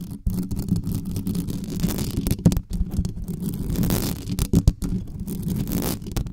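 Long nails on both hands scratch fast at the hollow metal mesh grille of a black condenser microphone. The result is a dense, continuous scraping rumble, heavy in the low end, with brief gaps and a few louder bursts.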